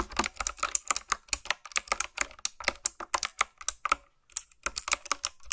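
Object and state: Typewriter-style mechanical keyboard.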